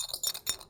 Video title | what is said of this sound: Flatfoot Buck Dancing with Thomas Maupin and Daniel Rothwell | you can hear that rattle there